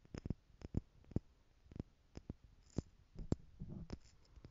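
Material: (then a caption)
Plastic. Long nails tap the lid and sides of a small, clear plastic stackable jar tower partly filled with loose gold glitter or jewels. It makes a series of quick, dry, low clicks with no ring. Midway the tower is tilted and shaken close up, giving a soft rattling shuffle between the taps.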